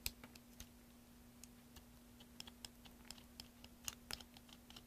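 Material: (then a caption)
Soap. A pen-like carving tool with a metal tip scrapes and chips at a solid green soap block held in one hand. About twenty quiet, short, bright clicks and scratches are heard, spaced unevenly over a faint steady low hum.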